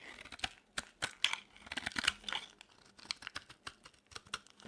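A solid, dry white soap bar is shaved with a utility knife blade, then flaky chunks are broken off by fingers. Quick, crisp scraping and crackling snaps follow one another, bright and dry with almost no low end and no ring after each one.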